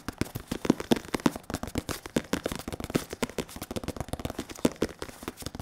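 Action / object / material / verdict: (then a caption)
tap / padded synthetic leather boxing focus mitt / synthetic leather / none. A black, white and red padded synthetic leather boxing focus mitt, held against a microphone, is tapped and rubbed with latex-gloved and bare fingertips. Dense, rapid, short dull taps with faint crackling come in irregular bursts, with rubbing sounds between them.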